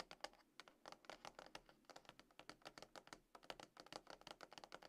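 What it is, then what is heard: Cardboard phone box tapped with nails. Long acrylic nails on both hands tap and scratch a small, hollow, closed dark grey cardboard iPhone box, likely with the phone inside, resting on a table. A quiet, rapid run of dry, clicky taps with very short decay carries a papery midrange around 800 Hz, bright high edges and soft scratching between the hits.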